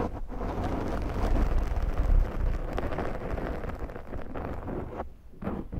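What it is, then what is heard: Foam microphone windscreen being scratched. Long glittery nails on both hands slowly scratch the top of a large round black foam windscreen on a Zoom microphone. The result is a deep, muffled, rumbling rustle, heavy in the low end with almost no bright content, that runs steadily before briefly dropping off near the end and picking back up.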